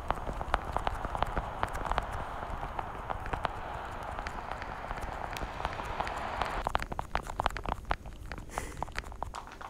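Long painted nails tap rapidly across the lids of a small, hollow, translucent blue plastic weekly pill case held in front of the microphone. Quick, sharp plastic clicks patter over a steady low rumble and hiss. Toward the end the hiss thins, and the taps sound sparser and crisper.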